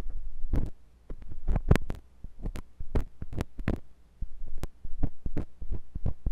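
A metal drill-bit tool with a wooden handle rubs and scratches inside the ear canal of a white silicone ear on a binaural microphone. The result is deep, muffled rumbling and throbbing thumps with crackly scraping and sharp bright clicks, in bursts separated by brief quiet gaps.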